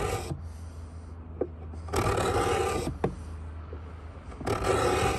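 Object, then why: Pine wooden box edge. A steel beading scraper, held in both hands, is drawn along the edge of a hollow pine box in repeated scrape strokes. Three long, bright, rasping strokes are separated by quieter pauses with small sharp clicks, over a steady low hum.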